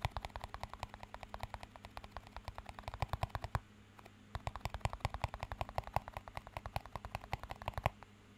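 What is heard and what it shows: A small, empty clear plastic cup is rapidly tapped and scratched with fingertips, producing dozens of quick, dry, hollow clicks with very short ring over a faint steady low hum. The tapping runs in a dense stream, pauses briefly near the middle, then resumes until just before the end.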